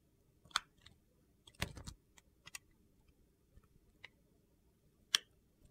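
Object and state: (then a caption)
Glycerin soap bar being shaved. A metal blade shaves slices from the top corner of a solid translucent purple glycerin soap bar held in hand. The result is a quiet run of sharp, bright, crisp clicks with an irregular rhythm, including a brief crunchy cluster, with each cut ending almost at once.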